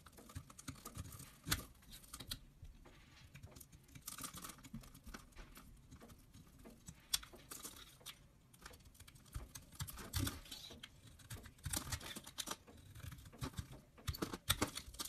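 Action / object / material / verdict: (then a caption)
scrape / soap bar cut with a knife blade / soap / none. A utility knife blade cuts and scrapes through a dark teal solid bar of soap held in one hand, with shavings falling off. Quiet, dry scraping and crisp crackling run throughout, broken by sharp bright clicks and short louder bursts as the blade bites in.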